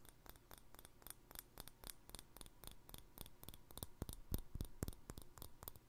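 Fingertips and nails tap the top and handle of a green plastic handled lid screwed onto a small empty glass jar. The result is a quick, uneven series of short, dry clicks with a faint bright tick, each dying away almost at once, with a few louder taps near the end.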